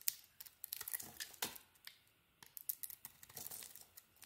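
A solid green bar of soap with a purple coating is shaved with a utility knife blade. Quiet, crisp, bright scraping and crackling cuts come in quick irregular bursts, each dying off at once, with a short pause in the middle.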